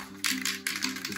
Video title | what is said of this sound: How to Spray Paint Your Airsoft Helmet | you first got to shake the can a lot so keep shaking it shake it real good ... want to hear that ball bang around